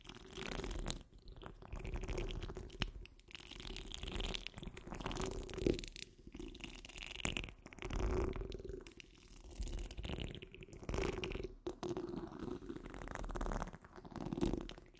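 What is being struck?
Steel wire-mesh microphone grille.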